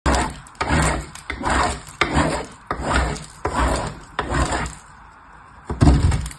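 A small purple piece of soap is rubbed by fingertips with long nails across the fine holes of a painted metal box grater. It makes a steady run of dry scraping, rasping strokes with a low, grainy body. There is a quieter pause near the end before one last stroke.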